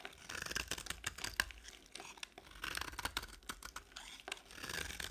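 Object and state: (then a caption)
Dry bar soap. A box-cutter blade shaves crumbly chunks off a solid beige bar of dry soap held in the palm. Crisp, bright scraping and crackling comes in dense bursts with short pauses between strokes.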